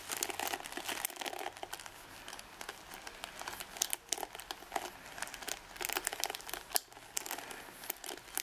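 Long red acrylic nails scratch and flick across the bristle tips of a hand-sized wooden paddle hairbrush with dense ball-tipped nylon pins mixed with darker boar bristles. The result is a steady, bright, crinkly scratching made of rapid tiny clicks and flicks, with almost no low end and louder bursts spread throughout.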